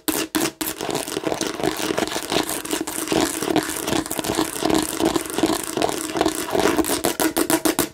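Long nails scratch rapidly across the seed bumps of a hollow plastic watermelon bottle held flat. The sound is a dense, bright, rasping clatter with a faint hollow tone in the midrange. It starts with a few short bursts, then becomes a steady run of scraping.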